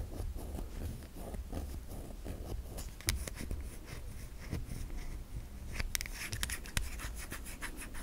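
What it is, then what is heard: Bar of soap. A solid white bar of soap with an embossed surface is held in the hand while long nails tap and scratch across it. Soft, dry scratching and rubbing runs throughout, broken by short, sharp taps with brighter clicks, the loudest near the middle and toward the end.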